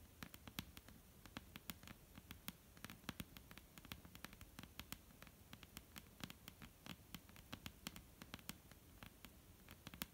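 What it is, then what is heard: Wooden table. Long almond-shaped painted nails scratch and tap across a flat, solid dark-brown wooden tabletop. Quiet, sharp clicks land in quick, irregular bursts over a soft, steady low rumble and scratchy hiss. Each tap dies away almost instantly.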